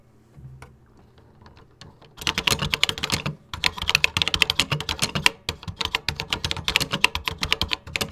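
Fingertips with short nails type on a 1986 Tandy Color Computer 2 keyboard with cream plastic keycaps. After about two seconds of near-silence with a few faint ticks, a steady run of rapid, bright, sharp plastic key clicks begins. The clicks continue with a brief pause partway through.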